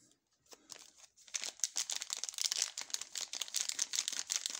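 Gloved fingertips rub, flex and turn over a sealed, full Funny chock bar in a long, thin blue plastic film wrapper, making it crinkle. After a faint start, a dense run of short, bright crackles and crinkles fills the rest of the clip, with almost no low end and each snap dying away quickly.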